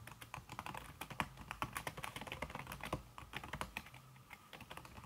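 Fast tapping by fingertips with long red nails on a backlit laptop keyboard in a silver aluminum body, its keys covered by a thin red silicone skin. A rapid, steady stream of short, soft clicks with very quick decay, each tap carrying a muted mid tone and some bright click edges over a low thumping base.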